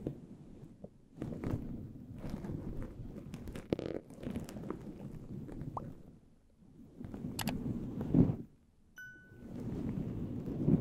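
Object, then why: Synthetic faux-fur microphone windscreen. Fingertips of both hands rub and scratch a fluffy, furry synthetic faux-fur windscreen covering a handheld recorder's microphone in a shampoo-massage motion. The result is a dense, muffled, low rustling and crackling that swells and fades in waves, with brief near-silent pauses between passes and a faint short tone near one of the pauses.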